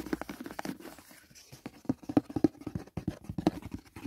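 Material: Cardboard.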